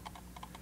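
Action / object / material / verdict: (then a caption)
shake / plastic computer mouse / plastic / loose. Shaking a Glorious Model O Pro plastic gaming mouse makes six quick, dry clicks from a loose part rattling inside, each centered near 890 Hz with brief bright edges. The rattle points to a quality issue with this original model, set against a steady low hum.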